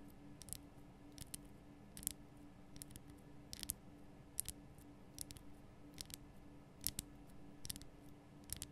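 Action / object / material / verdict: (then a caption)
tap / rock-salt lamp block tapped with fingernails / rock salt / none. Long nails tap the sides of the base of a large, lit, pink Himalayan rock-salt lamp, a solid rough crystal block. Each tap is a short, dry, bright click, often in quick pairs, and dies out almost at once. The taps sit over a quiet, steady low hum.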